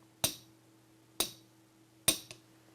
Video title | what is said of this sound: Strategies & Steps in Vibration Control | you can hear the thud sound which is not at all ringing